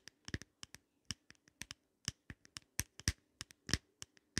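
Long nails scratch and tap the glass of an open, small double compact with round glass mirrors set in a pink glitter plastic frame. About 17 sharp, irregular clicks ring briefly, each bright and high with a light low thud beneath.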